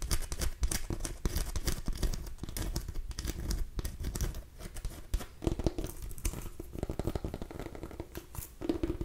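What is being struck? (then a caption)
Small pumpkin with rough rind. A small orange mini pumpkin with rough skin, a hollow gourd held up by the mic, is scratched and tapped with long nails and fingertips. The result is a dense run of dry, crackly scratching and quick taps that sound close and bassy. Short hollow knocks come through now and then.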